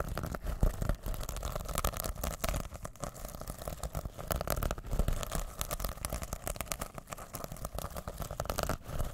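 A small reversible fabric pouch covered in rainbow plastic sequins is held in both hands over the mic while fingertips scratch and flip the sequins. A dense, steady stream of fast crinkly scratches and clicks rides over a heavy low rumble from handling, with brief louder flicks throughout.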